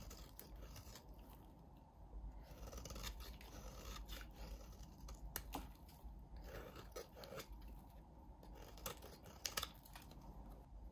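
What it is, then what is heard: Bar of soap being shaved. A utility knife blade shaves and scrapes a solid, hand-sized pale blue bar of soap, peeling off curls. Soft, steady rasping and scratching runs throughout, broken by sharp, bright clicks and crisp snaps as the blade catches and the curls break away. A low, dull rumble sits underneath.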